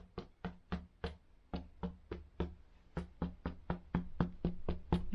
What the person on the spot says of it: you just tap it and you're looking for like a hollow Hollow sound